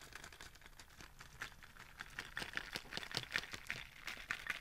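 A white Starbucks-style reusable plastic cold cup with a lid and straw, hollow and held in one hand, is tapped with fingertips and nails. The result is quiet, irregular, rapid clicking and tapping with a bright, dry plastic tone, almost no low end and no ring after each tap.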